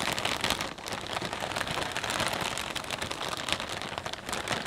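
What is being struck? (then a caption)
Clear plastic bag of potato chips. Fingertips press, pinch and rub the film of a full, transparent plastic bag of potato chips, shifting the chips inside. The result is a dense, continuous, bright crinkling and crackling at a fairly steady level, with little low-end weight.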